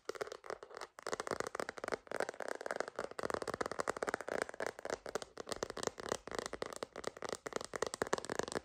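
A purple glitter plastic phone case with an iridescent rim, a hollow shell fitted on a phone and held in both hands, is tapped rapidly with long green acrylic nails. The result is a steady stream of quick, light, clicky taps with a crisp, bright edge, almost no low end and a fast decay.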